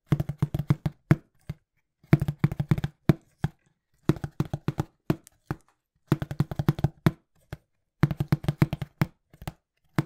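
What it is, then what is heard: Cardboard box, hollow. Fingertips tap fast on a small, hollow, brown printed cardboard shipping box. Quick, dry, hollow thumps with a low body around 150 Hz come in five rapid bursts about every two seconds, each tap dying out almost at once, with short silences between bursts.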